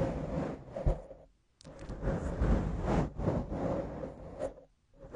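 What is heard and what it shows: Long acrylic nails grip and scratch a soft, porous black foam windscreen on a microphone. It makes a dense, muffled rubbing and crackling with a heavy low rumble, in uneven swells that drop to near silence for short pauses.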